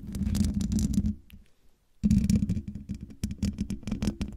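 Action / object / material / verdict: scrape / metal mesh microphone grille / metal mesh / none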